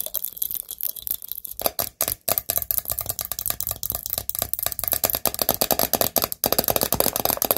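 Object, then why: Glass mason jar. Fingernails tap quickly and steadily on a pumpkin-themed glass mason jar. The result is a dense run of bright, dry clicks with a faint glassy clink and slight rattle. Each tap dies away almost at once.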